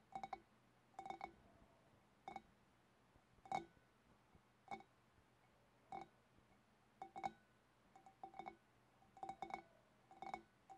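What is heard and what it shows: Long black nails tap with both hands on the shoulders of a large, hollow, empty clear glass fish bowl. The result is quiet, irregular bursts of sharp clicky taps, each carrying a brief glassy ring near 780 Hz with bright overtones that die away almost at once.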